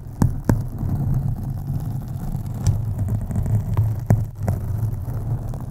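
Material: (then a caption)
Foam. Long acrylic nails on both hands scratch a black foam windscreen on a USB microphone. The result is a steady, deep rumbling rasp centred low, with a few sharp clicks cutting through, then settling back into the muffled scratching.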